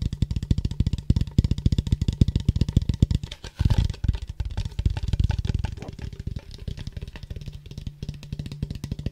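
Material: Plastic.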